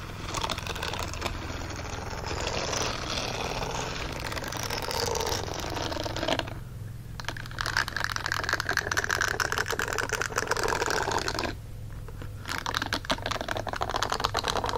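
Fingernails scratch across the bristles and finger slits of a green silicone dishwashing glove with a bristle texture, lying flat and empty on a blanket. The result is a dense, crackly rasping with bright, crisp detail over a steady low hum. The scratching eases into brief quieter pauses about a third and three quarters of the way through before resuming.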